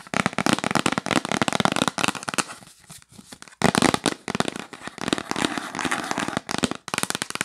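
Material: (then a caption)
Cardboard. Long nails tap fast on the lid of a hollow yellow printed cardboard box held up close, making dense, crackly clicks and hollow knocks. The rapid tapping runs almost nonstop, easing to a softer, sparser patter for about a second in the middle before picking back up.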